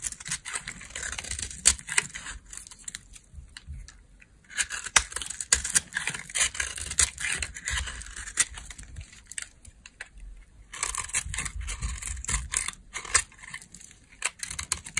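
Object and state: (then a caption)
Dry laundry soap bar being carved. A solid, palm-sized beige dry laundry soap bar is carved with a metal blade, its crumbly chunks and flakes falling off, and long nails are visible. Dense, bright scraping and crackling bursts come in three main stretches separated by quieter pauses. The crisp cuts break into many short crumbly snaps.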